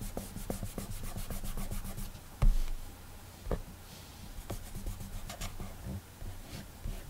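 A fingertip rubs coloring strokes across the glass touchscreen of an iPad, making a run of soft, rhythmic rubbing swipes. A low, steady hum sits under the strokes, and two brief louder thumps stand out near the middle before the gentle rubbing resumes.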